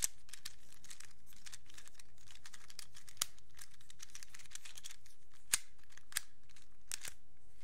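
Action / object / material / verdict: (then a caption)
flick / plastic infinity cube / plastic / none. A black plastic infinity cube is held in both hands while its blocks are flipped and snapped together with the fingertips. A steady run of quiet, dry plastic clicks and light rattling goes on throughout, with a few sharper, brighter snaps standing out above the rest.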